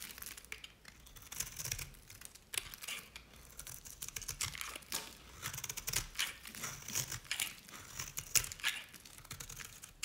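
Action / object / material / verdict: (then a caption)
scrape / bar soap shaved with a blade / soap / none. A utility knife blade shaves curls off the face and edge of an oval, dry green bar soap from Nevskaya Cosmetics. The result is a run of crisp, bright scraping and crinkling strokes with quick, dry crackles and almost no low end.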